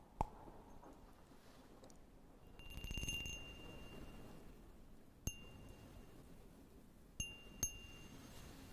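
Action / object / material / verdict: tap / cut glass tumbler / glass / none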